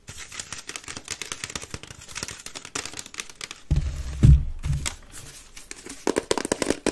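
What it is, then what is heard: Wicker basket bin scratched. Long nails scratch fast across the woven base and sides of an empty grey wicker waste bin held upside down, making a dense, bright, crackly rasp. Midway a deeper hollow rumble swells from the bin before the quick scratching returns, sharper toward the end.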